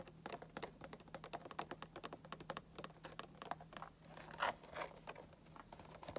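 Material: Plastic, cardboard.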